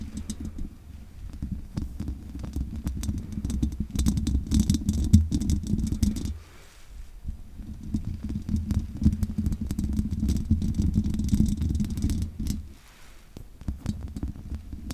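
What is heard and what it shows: Long nails scratch the bare metal mesh grille of a condenser microphone's hollow head with both hands, making dense, rapid scratching and rattling with a heavy low rumble. The sound comes in two long bursts, each dropping off into a brief quieter gap near six and twelve seconds.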